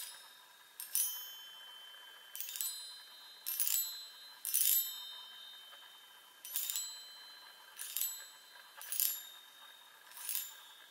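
Long fingernails tap the hollow metal tubes of a small handheld chime set on a wooden frame, producing a series of bright, high, glassy pings. Each tap leaves a short shimmering ring with sustained high overtones that fade within about a second, over a quiet background with no low end.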